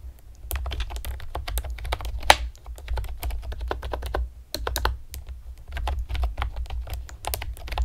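Long painted nails and fingertips rapidly tap on a pastel plastic typewriter-style computer keyboard with round retro keycaps and hollow keys. The result is a steady stream of short, bright plastic clicks over a low hum, with one sharper clack near the middle. There is a brief pause before the tapping resumes.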